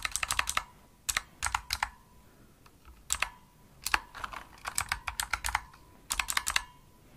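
Long nails and fingertips type fast on a pink plastic Razer mechanical keyboard with backlit keys and a hollow body. Quick bursts of bright, clicky key presses come in short runs separated by brief pauses. Each click decays almost instantly, leaving a faint ringing tone near 1 kHz.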